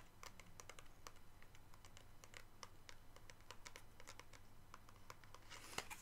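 Long pink nails tap rapidly on the body and grip of a medium-sized hollow black and green plastic toy gun held in both hands. The taps make a steady stream of short, dry clicks over a quiet low hum, with a slightly louder scratchy burst near the end.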